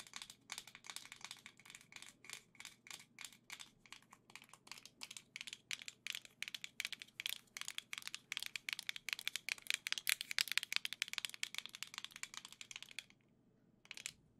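Long nails rapidly tap and scratch a hollow black plastic Nintendo Switch Joy-Con grip with gold Joy-Cons attached, held in both hands. The result is a steady stream of dozens of short, bright, dry plastic clicks with no ring, growing slightly louder through the middle. It pauses briefly near the end before a final few taps.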